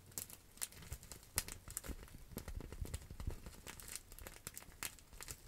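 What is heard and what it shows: A clear plastic bubble wrap pouch held in the hands is scratched and crinkled with long acrylic nails. Quiet, irregular crinkling is heard, punctuated by sharp, bright clicks and scratches and soft low thumps of handling.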